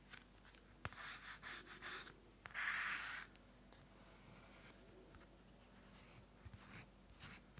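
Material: Paper.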